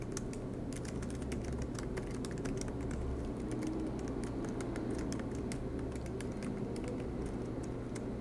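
Both hands type continuously with their fingertips on the low-profile black plastic keys of a silver MacBook Pro laptop, its aluminium body resting on a desk mat. Soft, rapid key taps with bright clicky edges run over a steady low hum.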